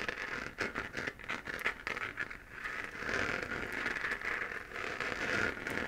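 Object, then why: Hollow 3D-printed plastic sphere lamp. Long fingernails scratch a hollow, lit, textured 3D-printed plastic moon lamp held in the hand. The sound is a steady run of dry, crackly scraping with a bright rasp centered in the upper midrange. It swells a little louder and denser in the second half.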